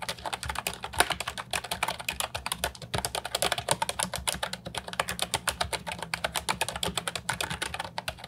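Continuous fingertip typing on the round keycaps of an Ajazz 308I, a brown and white plastic retro mechanical keyboard with a hollow body, resting on a wooden desk. Rapid, steady, bright, clacky keystrokes with short, crisp decays run through the whole clip over a faint low background hum.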